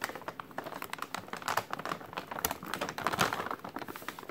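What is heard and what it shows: A white translucent plastic takeout bag printed with a menu is crumpled with the fingers from below. It gives a dense run of quick, sharp crinkles and crackles, mostly in the mid range with bright edges. Each snap dies away almost at once.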